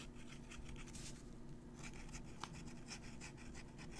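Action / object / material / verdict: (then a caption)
scrape / metal pen nib on a paper sheet / paper / none. A metal fountain pen nib scratches across the surface of a handwritten, crumpled paper sheet while writing. Quiet, dry scratching strokes come in short bright bursts over a steady low background hum, with one sharper scrape near the middle.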